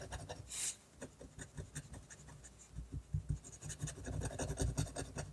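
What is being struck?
Paper sheet scratched by a technical pen.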